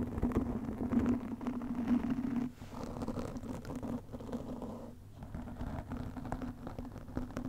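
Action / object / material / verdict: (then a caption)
scrape / foam microphone windscreen / foam / none. Long nails on both hands scratch fast over a black foam windscreen on a studio microphone. The result is a dense, continuous muffled rustling and scratching with a low, steady tone underneath. It is loudest for the first couple of seconds, then settles slightly softer.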